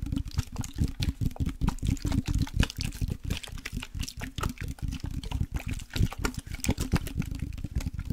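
A glass perfume bottle with liquid inside is tapped rapidly and steadily for several seconds. Each tap is short and dry, with little ring, over a dense, low, muffled body. Faint sloshing of the liquid is heard alongside the tapping.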